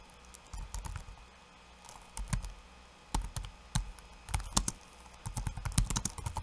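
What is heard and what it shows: Fingertips of both hands, then one hand, type on a backlit laptop keyboard with plastic keycaps. The result is quick bursts of light, clicky key taps, each with a soft low thump and a bright, short click that dies away almost instantly. Brief quiet gaps fall between the flurries.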